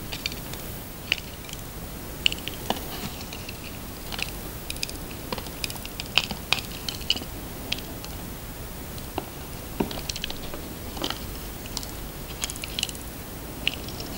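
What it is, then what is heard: Bar of handmade soap being carved. A palm-sized, solid cream-coloured handmade soap bar, held in one hand, is carved and shaved with the blade of a red utility knife, and the shavings fall into a plastic container below. Irregular, crisp scraping and cutting strokes give short, bright clicks and snaps over a steady, quiet hiss.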